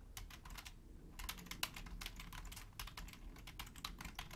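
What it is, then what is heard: Plastic computer keyboard. Long painted nails and fingertips type densely and continuously on a black Logitech plastic computer keyboard, making a rapid stream of quick, bright, dry clicks that die away almost instantly. The typing eases briefly around the one-second mark before resuming, over a steady low rumble.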